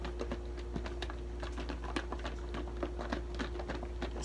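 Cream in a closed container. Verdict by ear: Solid.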